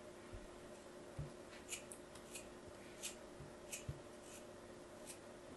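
A metal craft blade cuts and scrapes in slicing strokes through a small, solid block of purple and yellow kinetic sand held in a hand with long yellow nails. Several soft, gritty crunches with brief bright hissy scrapes rise over a quiet, steady low hum.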